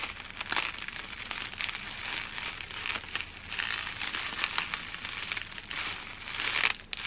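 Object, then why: Plastic bubble wrap. A large bundle of clear plastic bubble wrap is squeezed and scratched with long dark nails and fingertips. Dense, bright crinkling and crackling runs continuously for about seven seconds, with louder bursts near the start and again toward the end.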